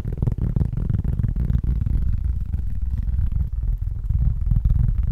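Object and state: Cork board.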